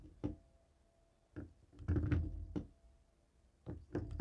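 A dark grey plastic cable TV remote lying on a wooden table is tapped and knocked with the stone head of a jade roller. Quiet, dull, low-pitched knocks and thunks come in scattered bursts, with a cluster of rapid taps in the middle and a few more near the end. Each hit dies away almost at once, with no bright ring.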